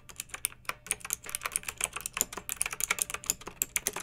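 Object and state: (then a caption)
Plastic mechanical keyboard. Fingertips with long nails type continuously on a pink backlit plastic mechanical keyboard with round keycaps. A steady run of quick, bright, clicky clacks with almost no low end, each tap dying away almost instantly. It makes a soft, even patter of keystrokes.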